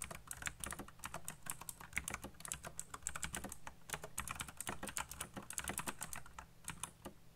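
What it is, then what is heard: Plastic mechanical keyboard. Fingertips type fast on a black plastic RGB mechanical keyboard, producing a dense, rapid stream of sharp, bright key clicks with almost no ring. A steady low hum sits underneath throughout.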